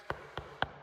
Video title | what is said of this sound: Quick Move In Home With Up To $45K In Incentives In Port St Lucie Fl | So, if you bang on this and it sounds solid, that's the best way to tell that it's hurricane impact glass windows and doors.